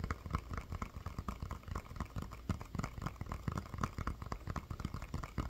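A medium hollow inflated rubber playground ball with a SpongeBob print is held in one hand and tapped and scratched with the fingertips and nails of the other. Quick, dull, low thumps with short scratchy textures come in a steady, irregular stream, each dying away almost at once.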